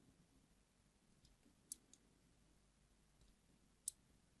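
A small metal blade scrapes thin diagonal grooves across a solid yellow translucent glycerin soap bar held in the hand, in a repeated scratch-and-carve action. A few short, bright, crisp clicks stand out over a faint low hiss, each dying away almost at once.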